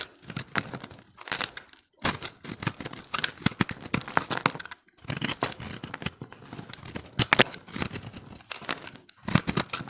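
A steel utility-knife blade scrapes and shaves the surface of a solid, hand-held recycled soap ball of pressed multicolored dry soap, splitting off layers. Dense, dry crackling and crisp scraping come in bright bursts of rapid tiny snaps, broken by brief silent pauses between strokes.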